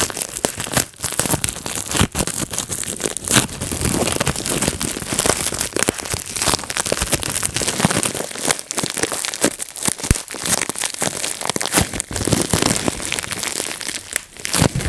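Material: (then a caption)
Plastic. Fingertips pinch and pop the bubbles on a clear plastic bubble wrap sheet, producing a dense, continuous run of sharp snapping pops mixed with crinkling of the plastic. The pops are bright and short with almost no ring, coming too quickly to count apart across the whole clip.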